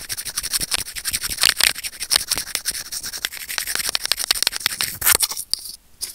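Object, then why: Small plastic earphone inline microphone scraped with steel tweezers. Curved steel tweezers held in fingers click and scrape against a small, hollow, white plastic earphone inline remote microphone. The result is a dense, rapid stream of sharp, bright clicks and scratchy rubbing, almost all high-pitched with very little low end. The sound quiets briefly near the end before a few final clicks.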